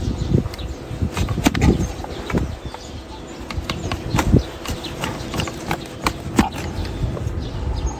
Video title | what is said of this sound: 暖心救援：蹄尖上翹無法落地！老师傅清理深層污垢，矯正畸變驢蹄 | The hoof wall was smooth and hard, producing a dull, crisp sound when struck, typical of solid bamboo hooves in livestock farming.